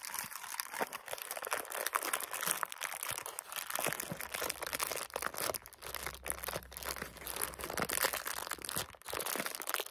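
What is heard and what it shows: Fingertips press and crinkle the clear plastic shrink-wrap around a solid bar of soap with a round label. A steady, quiet stream of dense, bright crinkling and crackling runs throughout, with a faint low hum underneath in the middle.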